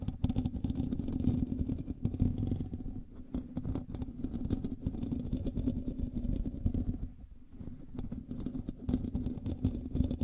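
Fingernails scratch the hollow metal mesh grille of a black microphone, producing a dense, low, rumbling scrape full of rapid crackling ticks. The scratching runs almost continuously, with a brief quieter dip around seven seconds before it picks back up.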